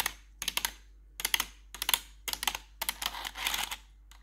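Long pointed metal claw nail covers worn over blue-gloved fingers tap and scratch the hollow keycaps of a full-size black plastic RGB backlit computer keyboard. Quick clusters of bright, sharp clicks arrive in bursts with short quiet gaps, and a denser scratchy rasp follows near the end. Each tap dies away almost instantly with little low end.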